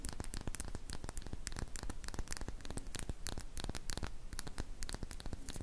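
Long painted fingernails tap and scratch a small glass serum dropper bottle with a silver cap, held in both hands and appearing to hold liquid. Rapid, irregular crisp clicks and scratchy bright ticks follow one another steadily over a constant low hum.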